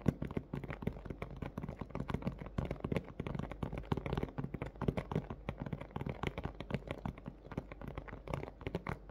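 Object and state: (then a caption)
Thin plastic blister package, hollow. Both hands tap rapidly on a large, hollow, thin clear plastic clamshell dome of a blister toy package, held face-on with a pink plush toy inside, using fingernails and fingertips. The taps are quiet, dense and short, with a dull, hollow, low-heavy thud and almost no ring, continuing steadily throughout.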